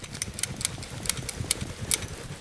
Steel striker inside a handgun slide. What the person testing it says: That's actually the striker moving back and forth. That means that all the firing pin safeties, all the safety mechanisms are working as they should